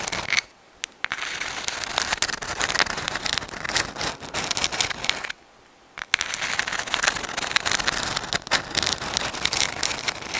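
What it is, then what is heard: Sand dollar shell. A dried white sand dollar, a thin, flat, hollow, palm-sized calcium carbonate skeleton, is held in both hands in front of the microphone and scratched and tapped with long acrylic nails. It makes bright, dry, crackly scratching dense with tiny sharp clicks, with almost no low end. The sound stops twice for brief silences, near the start and again around the middle.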